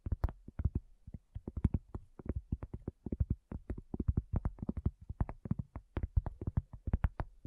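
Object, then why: Cork coaster. A round, flat, solid cork coaster is tapped quickly by the long fingernails of both hands. The result is a steady, irregular patter of dozens of short, dull, low taps that stop instantly with no ring, plus faint bright clicks on some hits.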